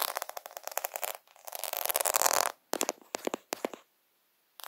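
Fingertips and short nails quickly scratch and tap a sheet of small white plastic half-pearl stickers (solid beads on a flat backing) held right up to a phone camera. Heard are dense bursts of dry, bright clicking and scraping with no low end, and brief pauses between them. After a louder scratching run, a few separate sharp taps follow, then silence before one last short scratch.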